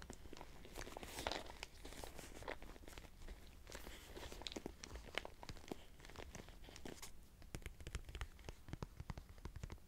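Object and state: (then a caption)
Leather purse. Fingertips and short nails tap and scratch the front flap of a small, closed brown leather crossbody purse with a floral print and metal clasp, lying on a bed with contents inside its hollow body. The quiet clip is a dense run of sharp, dry ticks and clicks over soft scratchy, crinkling rustle, with a low muffled thump beneath the taps.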